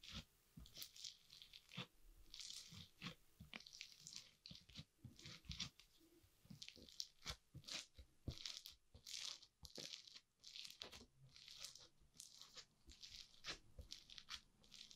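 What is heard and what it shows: A multicolored foam-bead crunchy slime mound on a wooden board is pressed flat again and again with a green plastic spatula. It gives dense, bright crackling crunches and short popping bursts with little low end. The sound is crisp and dry throughout.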